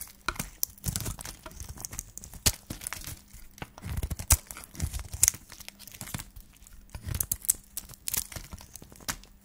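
A solid white dry soap bar, partly wrapped in a pink shiny wrapper, is cut and shaved with a flat metal blade held in the hand. Dry, crumbly crunches and tearing scrapes come in quick, uneven bursts, each with bright, high crackle and a soft low thud and no ring after. A faint steady low hum runs underneath.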